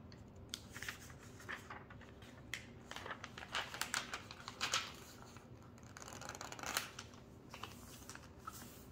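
Hands with long painted nails flip and smooth the thin pages of an open glossy paper magazine lying flat on a white table, fingertips and nails rubbing on the paper, beside a second, closed magazine. Quiet, crisp rustles, swishes and light crinkles come in short bright bursts over a soft, steady hiss. A few louder page flips stand out near the middle and later in the clip.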